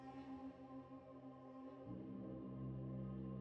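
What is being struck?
Nothing is struck.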